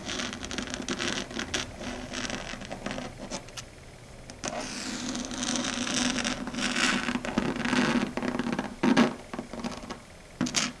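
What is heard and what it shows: Long red acrylic nails tap fast and scratch across a flat dark grey chalkboard surface. Dense bursts of bright, gritty scraping mix with quick clicky taps over a steady low hum. The sound swells and thins, with sharper taps near the end.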